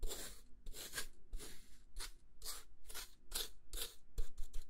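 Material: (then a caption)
Plastic. A square translucent plastic food container with a lid, holding beige contents and held in one hand, has its lid scratched and rubbed with a thin dark tool. Eleven short, bright scratchy strokes come one after another, each a quick hiss with no ring, under a faint low hum.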